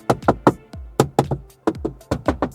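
Knuckle knocks on the hard plastic dashboard trim of a VinFast Limo Green, done to check build quality, produce thirteen short, dull taps with a hollow tone around 300 Hz that die away almost instantly. The black and satin-silver cabin trim is all hard plastic with no soft-touch material.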